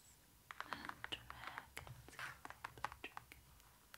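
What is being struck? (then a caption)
Thick glossy cardboard book page. Long nails and fingertips tap and scratch across the thick glossy cardboard pages of an open pop-up book with a raised dragon pop-up. A quiet run of quick, sharp clicks with very short decay mixes with soft brushing scratches, about twenty taps in all.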